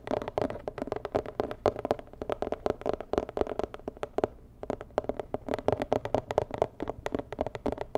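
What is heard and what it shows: Long nails tap rapidly on a medium, hollow, rigid white and red cardboard box with a red dot. The dense, quick taps give short, dry, hollow knocks with a midrange tone around 600 Hz. A brief pause falls just past the middle before the tapping resumes.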